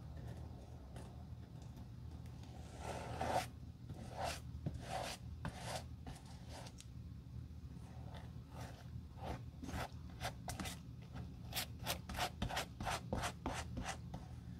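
A metal-handled stiff bristle brush with glue scrubs the solid, brown stained leather sole of a shoe resting on a stand. Repeated short, bright scratchy strokes come at an uneven pace and grow quicker and crisper toward the end. A steady low hum runs underneath throughout.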